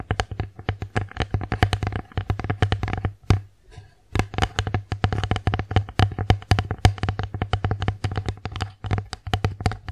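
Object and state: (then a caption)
Wooden plate tapped with fingernails. Long acrylic nails tap rapidly on the face and rim of an empty wooden bear-shaped plate tilted in the hands. The dense run of sharp clicks has a low hollow thump beneath, with a brief pause near the middle before the tapping resumes.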